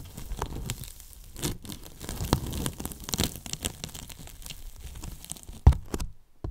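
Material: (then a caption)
Polyethylene foam. Fingers lift, rub and scratch a foam flap and the top edge of a large, hollow white polyethylene foam box. The result is a dense, crackly, tearing-like rustle of quick scratches with a low, hollow body, plus one sharper thump near the end before the sound drops away.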